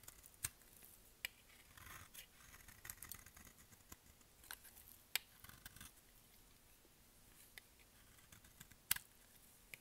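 A utility-knife blade scrapes and cuts a solid, pale-green bar of dry soap held in the palm, shaving off crumbly pieces. Quiet, bright, dry scraping rasps are broken by sharp, crisp clicks at irregular intervals, with little low end.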